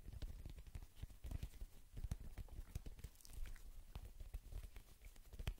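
A small black-and-white soccer ball with a synthetic leather/PVC cover, hollow and inflated, is held in both hands and tapped with the fingertips. A quick, uneven run of soft, dull, low thumps follows, each dying away almost at once, with faint brighter ticks from the fingertips on the cover.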